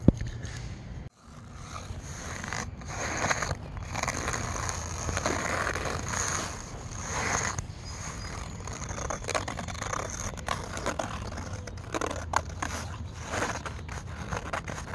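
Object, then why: Canvas fabric camping chair seat. Fingernails scratch the woven surface of a taut grey canvas fabric seat on an outdoor camping chair with metal grommets and cords. Continuous dry, rasping scrapes rise and fall in bursts, with a low rumble underneath and a brief drop to near silence just after the first second.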